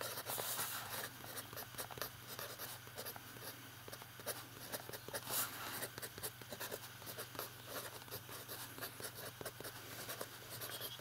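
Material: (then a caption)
Paper. A fountain pen writes capital letters on an open lined paper notebook page while the fingertips of the other hand rest on the page. The nib gives quiet, dry, bright scratching strokes in short bursts with brief pauses, over a faint steady low hum.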